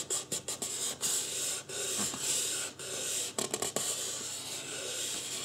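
Fingertips rub and scratch the forehead and sides of a life-size white polystyrene foam mannequin head. The sound is a dry, bright, hissy scratching that comes in uneven strokes with short pauses between them, with almost no low end.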